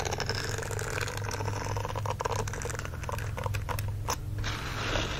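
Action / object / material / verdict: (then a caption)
scrape / silicone dish glove with bristles / silicone / none. Fingertips and nails scratch the small silicone bristles on the palm of a green silicone dish glove lying flat on a blanket. The result is a steady, dense crackling scrape with quick bristly flicks, over a constant low hum that stays at an even level throughout.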